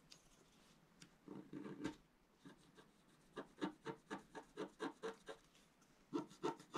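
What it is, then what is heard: Scratch art paper sheet being scratched. A wooden stylus scratches lines into the black coating of a flat, thin scratch art paper sheet resting on a table, while the other hand steadies the sheet. The result is quiet, dry, raspy scratching: a few longer strokes early on, then a quicker series of short, rhythmic scrapes with a mid-low grainy tone and faint bright hiss.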